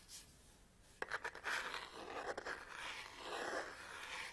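Long nails tap and scratch across the top, front and back of a black Canon DSLR camera body with a lens cap, its textured plastic and rubber grip giving off quiet, dry clicks and scrapes. A few sharp taps stand out from a steady, hissy scratching that sits mostly in the upper midrange, with almost no low end.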